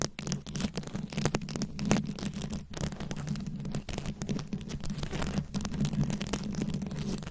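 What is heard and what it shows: Long nails scratch over the beads of a rhinestone-studded microphone head, producing a dense, continuous run of close, crackling scratches and bright clicks. Beneath them sits a steady low hum. The scratching keeps up at an even level throughout.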